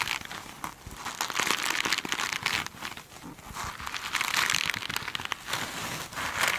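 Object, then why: Foam sponge with glittery mesh cover. Long nails scratch the glittery side of a hand-sized foam sponge with a sparkly mesh cover, held in one hand. The result is a bright, dry crinkling and scratching in uneven bursts that swell and fade, with almost no low end.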